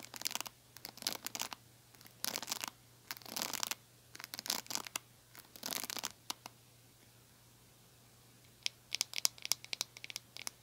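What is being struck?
Small plastic hair brush.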